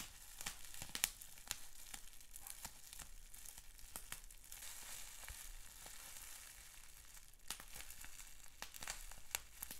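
Fingertips pinch, pop and crinkle a clear plastic bubble wrap sheet with small bubbles. Sharp, bright snaps and pops are scattered over a constant soft, crinkly hiss, with the pops landing irregularly throughout.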